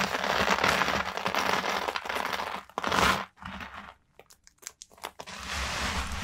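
Bare hands with long manicured nails scoop, rub and stir a large pile of small, thin, dry yellow and green soap shavings, making a dense, bright crinkling and crunching rustle with a loud burst near the middle. The hands then press fingertips into the brittle flakes, giving a few sparse, sharp crackles before the steady crinkling rustle returns.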